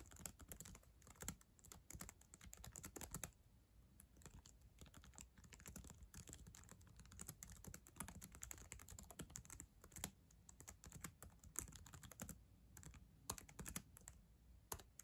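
Long acrylic nails type fast on the plastic keys of a black ThinkPad laptop keyboard. The result is a dense, rapid stream of short, sharp clicks and clacks with bright high edges and soft low thuds, each tap dying away almost at once.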